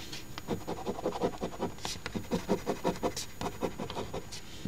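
A coin edge scratches the latex coating off the crossword grid of an Ontario OLG $10 Crossword Deluxe instant scratch ticket (#3354, #001), a thin, flat paper lottery ticket held down by fingers on a table. Quick, uneven, dry rasping strokes repeat in steady bursts with a low, papery scrape and occasional brief bright hisses that stop short with no ring.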